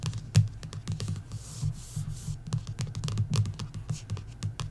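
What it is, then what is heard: Coloring book card cover tapped and scratched with nails. Long nails tap and scratch along the lower edge of the back card cover of a paperback coloring book. A rapid run of dull, low-pitched taps and clicks is broken by a brief soft, hissy scratch in the middle, then the quick tapping resumes.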